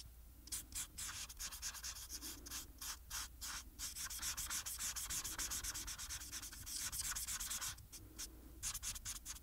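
A marker's brush tip rubs across a flat paper coloring sheet on a table, steadied by the other hand, in quick back-and-forth strokes. The result is a continuous, bright, scratchy swishing that pulses in a fast, uneven rhythm of roughly three to four strokes per second, with brief pauses between bursts.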